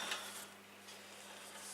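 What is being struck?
Nothing is struck.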